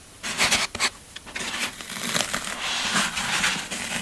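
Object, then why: Floral foam block. Fingertips and nails press, rub and crush the scraped surface of a solid green floral foam brick, then the block is lifted in the hands. Bright, crunchy, scratchy rustling comes in uneven bursts, with almost no low end. The crushing builds into a steadier, denser crackle toward the end.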